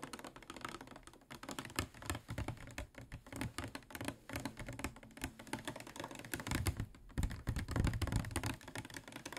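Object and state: Plastic water bottle.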